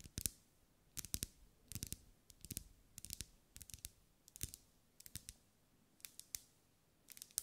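Long acrylic nails tap on a lit pink ribbed solid wax pillar candle in quick clusters of two or three. Each tap is a sharp, dry, bright click with a faint low knock and almost no ring, separated by short quiet gaps.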